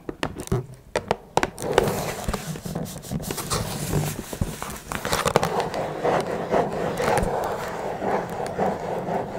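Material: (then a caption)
Cardboard. Long red nails scratch and tap on top of a small, hollow blue Twinings cardboard tea box. A few sharp, separate taps open the clip, then give way to steady, dry scratching with a hollow, papery mid-range tone. Quick clicky accents are scattered throughout.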